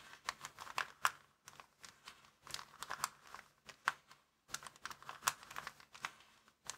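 Fingertips scratch and rub a small, empty, folded white plastic bag lying flat on a wooden table. Quick, dry crinkles and crackles come in short bursts with brief pauses between them. The sound is bright and thin, with almost no low end and no lingering ring.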